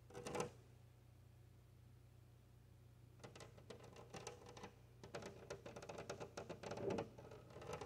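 Long-nailed fingers tap and scratch across the surface of a large, flat glass window pane. A brief scratchy burst opens the clip, followed by about three seconds of quiet over a steady low hum. Then a run of quick, clicky nail taps and rasping scrapes begins, with a faint ringing tone and a louder flurry near the end.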